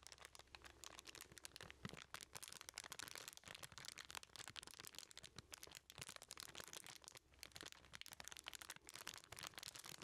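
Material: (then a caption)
Aluminum foil. A small aluminum-foil-wrapped package is held in both hands while fingertips squeeze and rub the crumpled foil. The result is a continuous, bright, dense crinkling with crisp, sharp crackles throughout, mostly high in pitch, at a fairly quiet level with a faint steady low hum underneath.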